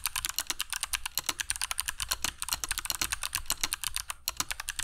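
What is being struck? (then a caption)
Mechanical keyboard with plastic keycaps. Both hands type continuously on a compact black mechanical keyboard with dark PBT plastic keycaps and Kailh Box Jade switches, resting on a cork desk mat. A rapid run of about 34 sharp, bright clicks is heard, each snapping off almost instantly, over a faint low rumble.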